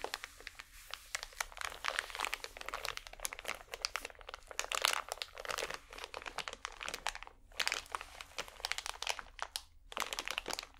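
A small, full pack of cotton swabs in crinkly plastic is squeezed and crinkled with both hands and fingernails. Dense, bright crackling and crunching runs almost continuously, with brief quiet gaps around 7.5 and 10 seconds. The crackles are sharp and dry, with no low rumble.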